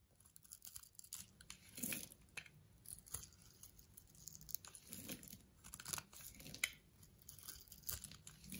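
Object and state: Bar soap being shaved.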